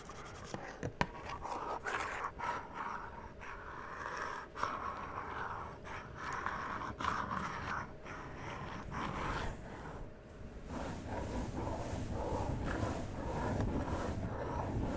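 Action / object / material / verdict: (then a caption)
scrape / cardboard box with clear plastic window / cardboard / none. Fingertips and nails tap and scratch the cardboard faces of a small, empty-looking hollow cardboard Funko-style collectible toy box with a clear plastic window, held in both hands near the mic. Quick, uneven taps mix with a steady dry scratching over a low rumble, with the scraping growing denser and rougher in the last few seconds.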